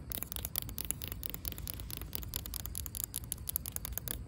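Long pink acrylic nails scratch across a cracked, solid asphalt ground surface, producing a quiet, continuous run of dense, gritty scrapes. Many short, bright clicks sit over a low rumble throughout.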